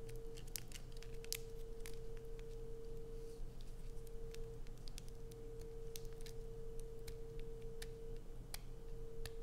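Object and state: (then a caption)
Bar of soap. Long nails scratch along the sides of a solid, light-blue, rounded bar of soap held in the hands. Quick, bright, crisp scratches and clicks sound over a steady low hum and a faint sustained tone, at a constant, quiet level throughout.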